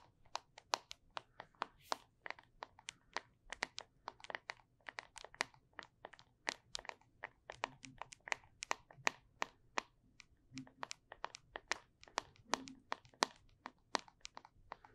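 Long acrylic nails tap and scratch the side and paper label of a small, closed, cylindrical plastic Flarp noise putty tub filled with putty, held close to the microphone. The result is a quick, steady run of dozens of short, dry clicks with bright, crisp tops and almost no ring, plus faint scratchy rustles between the taps.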